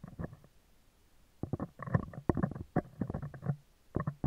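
Metal tweezers tap and scratch the hollow, round woven steel wire mesh grille of a handheld microphone at close range. Irregular clusters of quick, dry clicks and rasping scrapes follow a short opening burst and a brief pause. The sound is heavy in the lows and each tap dies away almost instantly.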